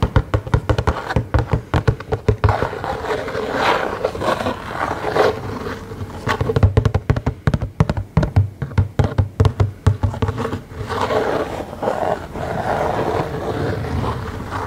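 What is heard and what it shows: Fingertips tap and scratch a small, hollow cardboard Funko Pop collectible box, held in both hands, with a clear plastic front window and the figure inside. Quick bursts of dull, hollow, low taps with almost no ring alternate with stretches of soft, rasping scratching across the cardboard and plastic surfaces.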